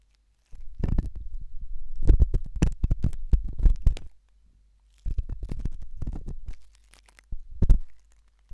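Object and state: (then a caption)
Silicone ear microphone scratched with a probe. A thin hooked stainless steel probe scratches inside the ear canal of a white silicone ear-shaped microphone. It makes deep, muffled, low rumbling scrapes in three bursts: a long stretch of rapid scratching, a shorter run after a pause, and a brief final scrape. There is near silence between the bursts.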